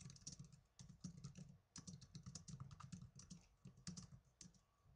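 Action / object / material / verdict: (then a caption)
tap / plastic netbook keyboard / plastic / none. Fingertips with blue nails type fast on the plastic keys of a small black plastic netbook keyboard. Rapid, irregular bursts of short clicks carry a soft low thump under bright, crisp tops, separated by brief pauses. Each keystroke dies away almost instantly.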